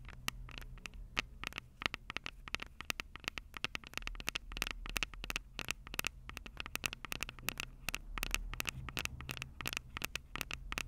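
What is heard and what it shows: Long purple acrylic nails tap quickly on the two metal-grilled microphone capsules of a Tascam DR-05 handheld recorder with a plastic body. The taps come as dozens of sharp, bright clicks with almost no ring, set over a steady low hum.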